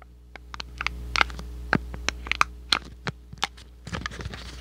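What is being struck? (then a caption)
Thin cardboard box. A small, hollow, thin cardboard box printed in red and white is held close to the microphone and crinkled, squeezed and scratched with fingertips and short nails. Sharp, dry crackles and scratchy ticks with bright, crisp edges pop out irregularly over a faint, steady low hum. Each snap dies almost instantly, and a denser flurry of scratching closes the clip.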